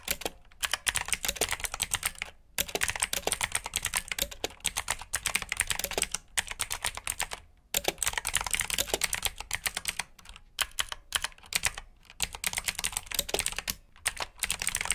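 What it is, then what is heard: Plastic mechanical keyboard with clicky blue switches. Fingertips type steadily on a black plastic backlit mechanical keyboard with blue switches, producing a rapid stream of sharp, bright clicks. Short pauses break up the bursts, and each click dies away almost at once.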